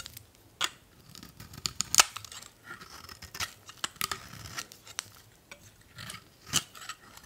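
A solid old beige bar of "Spring" soap is scraped with a metal utility blade in repeated cutting strokes. Each stroke makes a crisp, bright scraping crunch with almost no low end and no ring, separated by soft, quiet flaking sounds.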